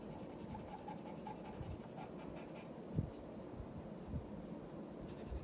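A graphite pencil tip scratches across a flat sheet of white drawing paper lying on a wooden desk, making continuous strokes while a lion's tail and legs are drawn. The quiet, dry scratching runs steadily, with a few slightly firmer strokes standing out near the middle and end.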